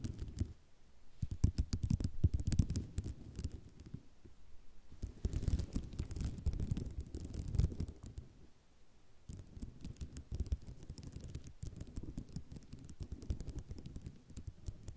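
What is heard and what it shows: Long nails scratch and tap rapidly on a flat sheet of small white ceramic mosaic tiles. The result is dense bursts of clicky, rattling scratches with a low, rumbling body and crisp, bright ticks. The bursts come in waves, with brief quieter pauses between them.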